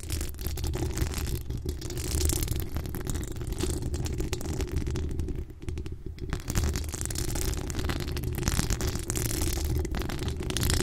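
Long acrylic nails scratch and tap the hollow steel mesh grille of a pink decorated microphone. The result is a steady, dense, low rumbling scrape with a fine crackly texture, briefly thinning and dipping in level around the middle before resuming.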